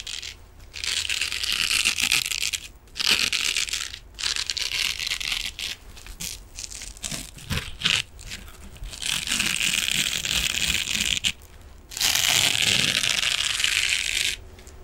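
A hand-sized silver metallic mesh scrubbing sponge is held upright and scratched with the fingernails of the other hand. The result is bright, crinkly, hissing bursts of scratching that come and go with brief pauses, almost entirely high-pitched with little low end.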